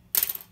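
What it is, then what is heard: Plastic guitar saddle, dead-sounding. A plastic guitar saddle is dropped or tapped, giving two quick, bright clicks made mostly of high frequencies. The sound dies away almost at once, with little ring, so it comes across as dead-sounding.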